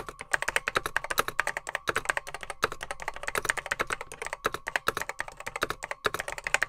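Fingertips type steadily on a beige plastic Apple M0110B vintage keyboard with grey plastic keycaps, a hollow case holding mechanical switches. The keys give quick, sharp clacks with a bright midrange snap and almost no ring, forming a brisk, slightly uneven typing rhythm with brief pauses.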